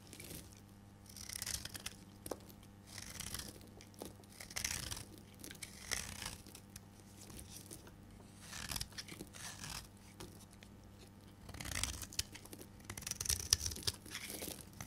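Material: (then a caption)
Soap. A solid green bar of dry soap is held in the hand and shaved with a metal blade into curls. The result is a series of dry, bright scraping and crunching strokes, close and quiet. Broad high-frequency hiss swells with each cut.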